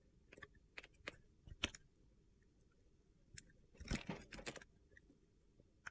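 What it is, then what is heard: Bar of soap being shaved. A box-cutter blade shaves and slices thin chips off a solid mint green soap bar held in the hand. Short, crisp, crunchy scrapes and clicks come in scattered bursts against a quiet background, with a denser cluster of scraping near the end.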